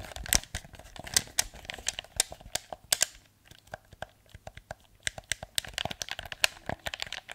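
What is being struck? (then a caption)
Plastic game controller. A hollow blue plastic PS4 controller is held in front of a microphone while thumbs and fingertips click its buttons and tap its body. The result is a rapid, irregular run of sharp, bright plastic clicks and taps with almost no ring or low end. The clicks thin out briefly near the middle before picking back up.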